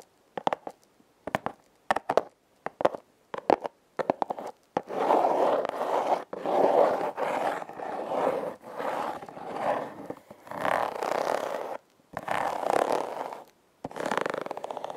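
Long red nails scratch the ribbed surface of a hollow, red heart-shaped corrugated cardboard box. Quick, separate flicks and short scratches come first, then longer rasping strokes in steady bursts with brief pauses between them. The dry, papery scraping centers in the midrange.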